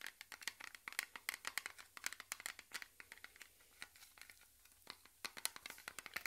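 Fingertips and short nails scratch and tap the lid and rim of a small, closed, round blue metal cream tin held in both hands. A quick, irregular run of light, bright clicks and scratchy ticks, each dying away almost instantly, with a short quieter lull before the tapping picks up again. The overall level is soft, with almost no low end.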